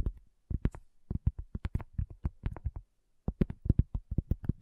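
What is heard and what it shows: Long fingernails of both hands quickly tap a solid, round, flat cork coaster. About two dozen short, dull, low taps come in quick bursts with a brief pause partway through, each dying out at once with no ring.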